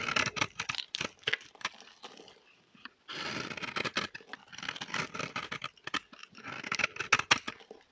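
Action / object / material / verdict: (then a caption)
scrape / bar soap scraped by a metal blade / soap / none. A metal blade scrapes a dry, solid orange bar of vintage soap held in the hand, shaving off crumbly flakes. Quick, dry, bright scraping and crackling strokes come in bursts, fade briefly near the middle, then resume densely. The shavings break away with a crisp, crumbly texture.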